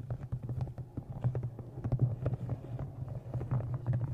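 Fingernails tap rapidly along the top edge of a thick brown embossed leather journal with an inset blue stone and a metal clasp, held close in front of a microphone. The taps are short, dry knocks over a steady deep hum around 120 Hz, with almost no bright content.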